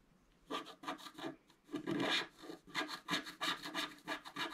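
A wooden stylus scratches repeated strokes across a flat, black-coated scratch art card, about A4 size, lying on a table. Each stroke is a short, dry, raspy scrape with bright hiss and a little low-mid body. The bursts come in quick, uneven succession and stop cleanly with almost no ring.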